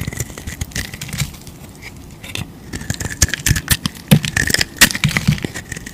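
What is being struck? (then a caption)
Bar of soap carved with a knife blade. A utility knife blade scrapes and carves shavings off an oval, solid white bar of soap with a dark coated shell, held in the palm. Irregular dry, crackly scrapes mix with sharp, bright clicks and brief low thumps, over a faint steady tone near 2 kHz. The cuts come in uneven bursts, growing louder and denser toward the end.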